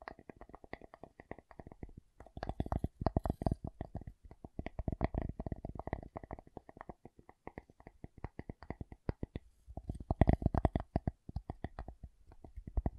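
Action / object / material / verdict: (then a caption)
tap / wooden object / wood / none. A wooden object is tapped in rapid, uneven flurries of short, dry knocks with almost no ring. The taps are mostly low and hollow-sounding with a faint mid-range tone. There is a brief pause near the two-second mark, and the taps grow louder and denser around three and ten seconds.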